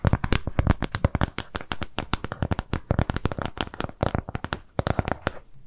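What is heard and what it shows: Long nails scratch and tap a flat round piece of brown kraft cardboard trimmed with jute. The result is a rapid, continuous stream of short, dry taps and scratches that are mostly low and dull, with brief bright crackly edges. Each sound dies away almost instantly.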